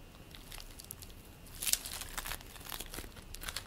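Hands tear apart and squeeze purple play foam made of polystyrene beads, producing quiet, bright crinkling and crushing crackles. The crackles run throughout, with the loudest burst about midway before settling back into softer crinkles.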